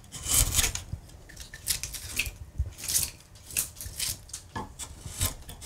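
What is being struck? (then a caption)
Carved wooden panel. A hand rests on a large solid carved wood panel with leaf relief, then a steel gouge pares and cuts into the carved surface. Short, bright rasping and scraping strokes come in uneven bursts over soft low thuds, each dying away almost at once.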